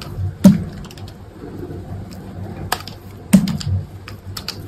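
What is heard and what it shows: A dry, solid white soap bar held in the fingers is carved with an orange-handled snap-off utility knife, its blade slicing and scraping chunks off the edges. Two louder, crisp crunching cuts stand out among quieter scraping and light clicking ticks that carry a bright edge. The sound is close, dry and low-heavy, with each cut dying away almost at once.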